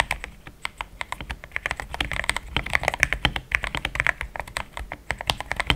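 Fast typing with the fingertips of both hands on a compact pink-white mechanical keyboard, with thick plastic XDA keycaps, a polycarbonate plate and linear switches, resting on a desk mat. A rapid, uneven stream of short, crisp clacks rings mostly in the upper mids around 1.7 kHz, with bright tops and a soft low thud under each press. Each keystroke dies away almost instantly.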